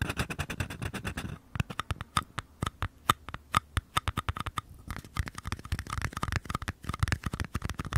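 Fingertips and nails tap and scratch the outer walls of two small, empty white paper cups, one held on its side in each hand beside the mic. It opens with a dense, rapid scratching patter, then gives way to sharper, separate taps with a hollow, papery ring of about 1.2 kHz. Quick, busy tapping returns toward the end, each hit dying away almost instantly.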